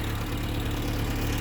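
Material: Nothing is struck.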